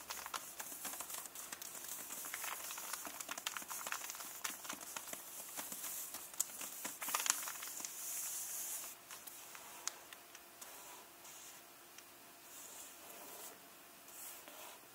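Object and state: Hardcover book with plastic-covered dust jacket.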